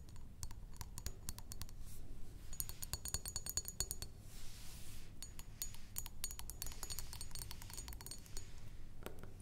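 Long acrylic nails tap and scratch the sides of a rectangular glass perfume bottle with a pink top, partly filled with liquid and standing on a wooden table. Quick runs of sharp, bright clicks with a faint high glassy ring alternate with brief soft scratching passes. A steady low hum sits underneath throughout.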